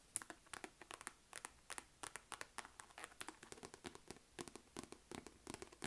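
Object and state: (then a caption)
Faux leather quilted wallet purse. Long nails tap and scratch the stitched front of a small, hollow, mustard yellow chevron-quilted faux-leather wallet-on-chain. About 36 quick, dry, bright taps and scratches follow one another in an uneven rhythm. Each stops almost instantly with no ring.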